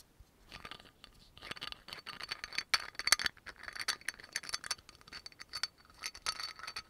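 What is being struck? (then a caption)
Glass bottle with plastic cap. Fingertips and nails tap and fiddle with the black cap of a dark brown amber glass oil bottle with a yellow label, making a quick, rattling stream of light clicks and scratchy taps. The sound is bright and dry, with almost no low end and no ring after each hit, and it comes in uneven bursts that peak near the middle.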